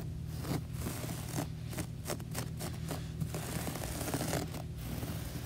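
Long nails scratch the soft pile of a beige textured floor carpet, giving a series of dry, brushy scrapes over a low steady hum. The strokes come as separate rustling bursts, each fading quickly.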